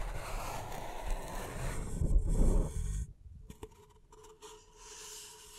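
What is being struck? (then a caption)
Paper cup. Long nails tap and scratch the base and side of an empty, upside-down beige paper cup held in the hands. A steady, dull rubbing scrape fills the first three seconds, swelling louder just before it cuts off. A few soft, hollow taps and faint scratches follow over a quiet hiss.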